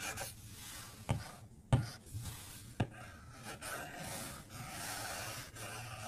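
A white plastic stylus tip draws short strokes across the flat glass screen of an iPad tablet, making soft, raspy scratching with a low hum underneath. Three sharp taps on the glass stand out, followed by steadier, brighter scraping strokes.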